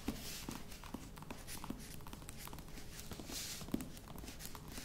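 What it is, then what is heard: Faux leather box. A croc-embossed faux leather box is held at both ends while fingertips and nails scratch and tap its sides. A steady, soft scratching rustle runs throughout, broken by light, short taps with a dull low body and a bright textured hiss above.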